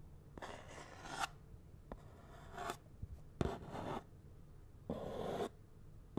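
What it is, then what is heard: Cardboard glove box, scratched. A fingernail scratches across the surface of a small, hollow cardboard box of latex gloves with the gloves still inside. It makes separate bursts of dry, raspy scraping with a papery, hollow tone, separated by quiet gaps with a faint low background hum.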